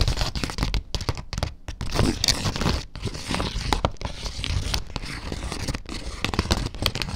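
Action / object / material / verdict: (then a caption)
scrape / printed fabric tablecloth / fabric / none. Long dark nails scratch across a flat fabric tablecloth printed with a farmers market scene, spread on a surface. A steady run of rough, crinkly scratching strokes with a heavy low rumble and bright rasping edges, rising and falling without pause.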